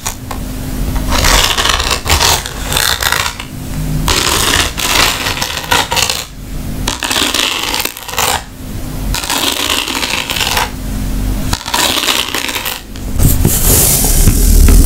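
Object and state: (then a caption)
Rattan wicker bag. A round woven rattan wicker bag is scratched and tapped with long nails, and its strap is also handled. Irregular bursts of bright, dry scratching and clicky taps are separated by short pauses, over a low, rumbling handling noise.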